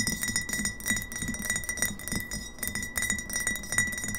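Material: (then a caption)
Glass. Long fingernails tap rapidly on both sides of a partly filled glass kombucha bottle standing upright on a table. The taps form quick, uneven clinks, each with a short glassy ring that holds a steady tone near 2 kHz above bright, high clicks and a soft low thump.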